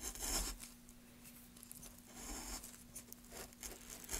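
A small metal gouge, held in gloved hands, carves into a solid pine block with short, bright scraping and tearing strokes that swell and fade over a quiet background. A faint steady low hum runs underneath the whole time.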